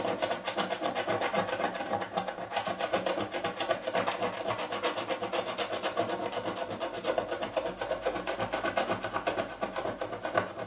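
A coin rapidly scrapes the scratch-off coating on the lid of a hollow printed cardboard box while the other hand rests on the lid, and flakes of film build up. The result is a dense, steady, dry scratching rasp, centered in the mids with a bright, hissy edge and almost no low end.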